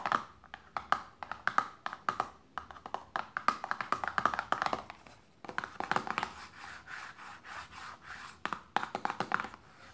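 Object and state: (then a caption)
Paperboard box, tapped and scratched. Long painted nails rapidly tap a small, closed, printed paperboard lotion box resting on fabric, giving quick, dry, hollow clicks with a papery ring around 1.2 kHz that dies away almost instantly. Midway, the tapping gives way to softer, continuous light scratching across the box surface before crisp fast taps return at the end.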